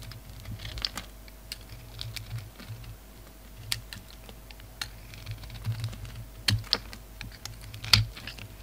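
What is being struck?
Solid soap bar scraped with a knife blade.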